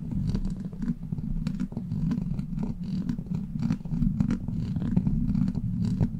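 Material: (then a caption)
Steel mesh. Long black plastic claw nails scratch and tap a hollow steel mesh microphone grille. The result is a dense, continuous low rumbling scrape centered around 190 Hz, broken by quick, bright ticks from the nail taps.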